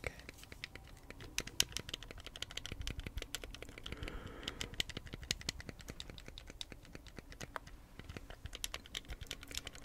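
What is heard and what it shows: A white hard-plastic Wii remote, a hollow handheld electronic controller, is held in both hands while fingertips and nails press and click its buttons and tap the casing. A steady stream of quick, dry, bright clicks and taps runs throughout, sounding much like typing on a keyboard.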